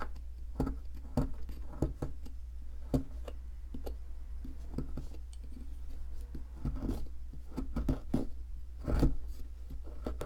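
A wooden-handled metal chisel scrapes and chips at a solid white plaster ammonite block, a fossil excavation block. Short, sharp clicks and scratchy scraping taps come in quick irregular bursts over a steady low hum, with a louder cluster of chipping near the end.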